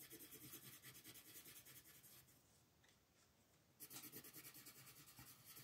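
A yellow wooden colored pencil, held in the fingertips, rubs and scratches back and forth across a thin printed paper mandala page lying flat on a wooden table while coloring. Quick, rhythmic, bright scratchy strokes fill the first two seconds, fade to a quiet hush for about a second and a half, then resume just as briskly.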